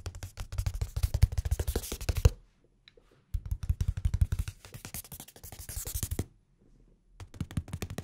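A blue hardcover notebook, held flat between the microphones, has its cover tapped and scratched with fingertips and nails. The result is bursts of rapid, dull, low thumps with faint bright scratchy edges. Two short quiet pauses break up the bursts.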